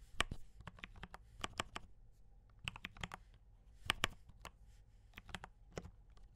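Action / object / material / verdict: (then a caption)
tap / mechanical keyboard with plastic keycaps / plastic / none. Fingertips type on a mechanical keyboard with brown switches and cream and red plastic keycaps. Each keystroke is a short, dry clack with bright, high clicks and a soft low thump. The irregular bursts stop quickly with almost no ring.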